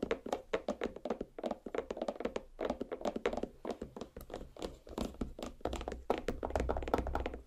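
Long black nail tips tap rapidly on a large, solid watermelon half. The result is a quick run of short, dull thunks with a mid-pitched hollow tone around 470 Hz. Each tap dies away almost at once, with a faint clicky top.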